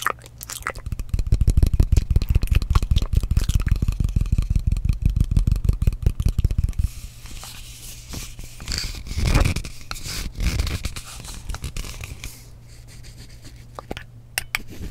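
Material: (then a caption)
Glass. Fingernails tap quickly on the side of a frosted glass mist bottle held close to the microphone, making a dense run of short, dry clicks with deep low thumps for about seven seconds. The tapping then gives way to softer scratching and rustling, with a few bright taps near the end.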